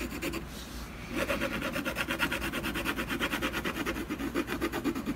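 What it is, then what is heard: Pencil hatching on a canvas panel. A dark colored pencil hatches back and forth on a solid canvas panel, making dry, scratchy rubbing strokes. After a quieter first second, the strokes settle into a quick, steady rhythm of about three per second, each with a bright, gritty rasp.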